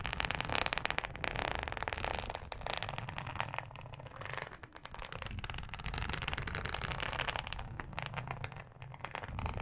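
Long acrylic nails on both hands slowly scratch a thin, yellow, flexible plastic cutting mat with a fine ribbed texture, lying flat on a dark mesh surface. The result is a dense, continuous, crackly scraping with bright, rasping highs over a soft low rumble. It eases briefly in the middle before building back up.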